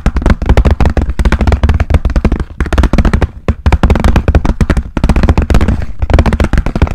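A pink translucent hard plastic pencil case with pens inside, held flat close to the mic, is tapped rapidly with fingernails. Quick bursts of dry, clicky taps with a hollow, bassy thud come in runs separated by brief pauses, each tap dying away almost instantly.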